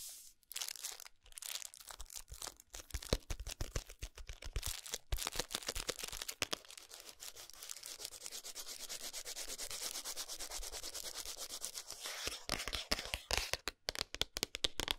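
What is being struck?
Cardboard box.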